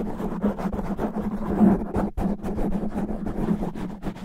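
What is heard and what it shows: Natural fingernails of both hands scratch fast and roughly across a black foam microphone windscreen. The result is a dense, continuous rough rustling with a steady low tone underneath and rapid surging bursts, with one brief dip of near-silence midway.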